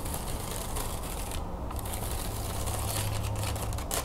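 A hand-sized wooden folding fan with thin, perforated wooden slats is opened, folded and scratched by long nails and fingertips. Light, hollow-sounding, ratchet-like clicks and bright scratching run steadily over a low rumble, with no clearly separate hits.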